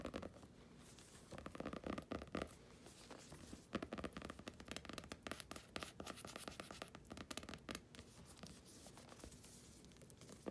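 Long painted nails and fingertips scratch and rub a closed, purple cloth-covered hardcover journal with gold lettering, lying flat on a blanket. The result is quiet, dense, dry scratching that rises and falls in rapid bursts of short, crisp scrapes with no ringing afterward.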